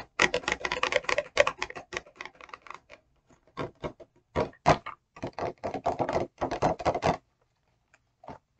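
Long acrylic nails tap rapidly on the front of a clear, rigid plastic e.l.f. brush set box, a hollow package with brushes inside. Quick, bright, clicky taps come in dense bursts separated by brief pauses, each tap dying away almost instantly. The tapping stops after about seven seconds, leaving near silence broken by a couple of faint final taps.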